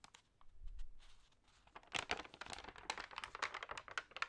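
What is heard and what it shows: Fingertips and nails rub the damp pages of an open, thin paper magazine and turn them. A soft, low rustle swells and fades in the first second, then dense, bright crinkling and crackling bursts follow in quick, uneven succession until the end.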